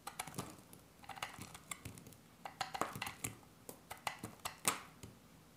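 A hand-sized solid green dry soap bar is shaved and cut with a metal utility-knife blade held in the other hand. About two dozen short, crisp scraping cuts follow one another, each a quick bright scratch that stops almost at once, with quiet pauses between them.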